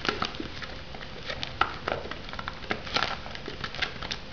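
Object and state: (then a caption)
Shrink-wrapped foam noodle cup. Long nails tap and scratch the lid and sides of a shrink-wrapped foam noodle cup. It makes a quiet run of light, irregular clicks over a soft, crinkly, scratchy rustle, with a few sharper, brighter taps standing out. Each tap dies away almost at once.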